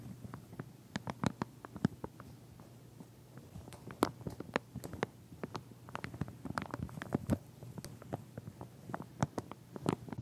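A pink wide-tooth plastic comb in a clear plastic sleeve, standing on edge, is scratched and tapped through the packaging with fingernails. Dense, irregular crackling clicks and soft plastic taps continue throughout, each sharp and dry with almost no ring, over a low hum.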